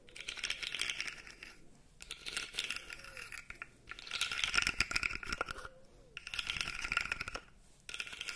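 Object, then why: Segmented plastic fidget toy. A light-blue plastic articulated fidget slug toy is held by the top while fingers flex its segments, making rapid, irregular bright clicks and rattles. The clicking comes in bursts of a second or two, separated by brief quieter pauses.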